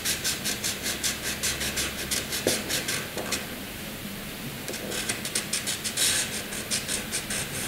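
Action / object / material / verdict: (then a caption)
scrape / graphite pencil on drawing paper / paper / none. A graphite pencil hatches strokes inside a box drawn on a sheet of flat white drawing paper, making bright, rhythmic scratches. About nineteen short strokes are heard in quick succession, with a brief stretch of softer, steady rubbing in the middle before the hatching picks up again.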